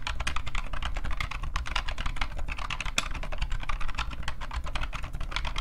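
An IBM PCjr off-white plastic keyboard with a hollow case and rubber dome keys is typed on rapidly by both hands, the fingertips tapping and pressing the keys. The result is a dense, continuous stream of short, bright clacks with a hollow plastic tone, over a steady low rumble.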